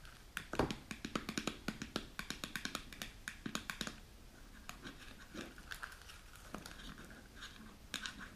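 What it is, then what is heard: Plastic pill bottle tapped and scratched with nails. A white plastic supplement bottle with a white cap, hollow and holding tablets, is held in the hands while long nails tap and scratch its cap and label. A rapid run of sharp, bright, clicky taps fills the first four seconds, then gives way to softer, rasping scratches with a few scattered taps. The taps are short and dry with almost no ring.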